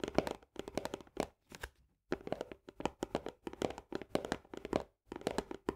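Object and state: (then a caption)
Paperboard canister with plastic lid. Long nails on both hands rapidly tap and scratch the upper wall of a medium paperboard Orzo Bimbo barley canister, just below its green plastic lid. Quick bursts of dry, hollow clicks carry a mid-range resonance near 395 Hz and stop almost instantly, broken by short pauses of silence.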